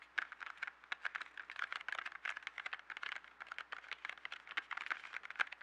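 A small, hollow yellow cardboard box filled with 12 colored pencils is held up, then tapped and scratched on a table with fingertips and nails. The result is a quick, steady patter of dry, clicky taps and light scratches, centered in the upper mids with a bright edge. There is no low end, and each tap stops dead with no ring.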